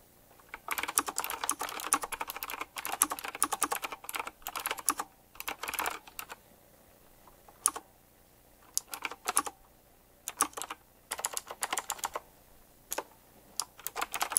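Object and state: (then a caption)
Mechanical keyboard typing. A retro typewriter-style mechanical keyboard with round plastic keycaps set in chrome rings is typed on with the fingertips of both hands. Bursts of fast, bright, sharp key clicks come in quick runs, broken by short pauses and a few single isolated taps.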